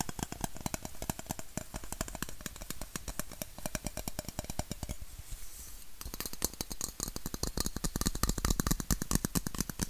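A red, hollow aluminum Coca-Cola bottle, held sideways and upright, is tapped and scratched with fingertips and nails. Rapid, dense clicking taps come in an uneven stream with short, dry decay and a low body, bright scratchy texture in between. Around the five-second mark the tapping briefly thins into a softer scratch before quick tapping resumes.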